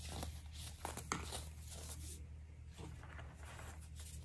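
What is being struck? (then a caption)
Dried baking soda clumps. Fingertips with short nails on both hands squeeze, crumble and rub crusty, solid clumps of dried pink-tinted baking soda on a large tray, with baking soda stars nearby. Quiet, bright crunching and crinkling runs throughout, with a few sharper crunches early on over a steady low hum. The chunks break down into loose powder.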